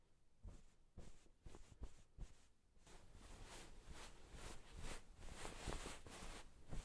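White satin-gloved fingertips rub and tuck at the sides and top of a floral cotton-cased pillow. Quiet, irregular fabric rustles and soft brushing strokes are broken by muffled low thumps, growing into a denser, steady scratchy rubbing in the second half.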